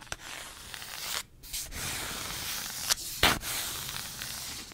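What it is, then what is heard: Cloth-covered hardcover book. Long nails rub and scratch across the cloth cover of a grey fabric-covered hardcover book, making a steady, bright, papery scraping. The scraping breaks off briefly a couple of times and is marked by a few sharper scratchy accents.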